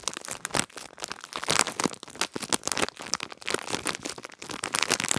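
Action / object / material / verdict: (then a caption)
scrape / clear plastic packaging bag with a cardboard header and a gel-bead pad inside / plastic / none. A small clear plastic bag with a cardboard header and a pink gel-bead pad inside is crinkled and rubbed between fingertips and long nails. Dense, bright crinkling and crackling comes in quick bursts throughout, with very little low end and no ringing.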